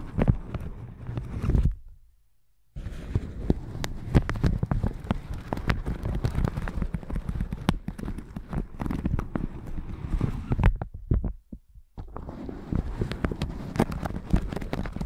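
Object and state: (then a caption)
Plastic shower cap brushed. A plastic shower cap stretched over a microphone is brushed with a round red silicone-bristle brush on a white handle. Dense, crinkly scratching and rustling strokes, heavy in the low end, fill the clip. The sound stops briefly near the 2-second mark and again just before 12 seconds.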